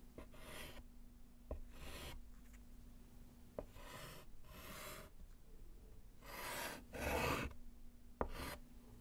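A gloved hand writes with pink chalk on a small, flat, solid slate chalkboard set in a wooden frame. Bursts of dry, bright scratching strokes alternate with short sharp taps of the chalk against the board, over a faint steady low hum.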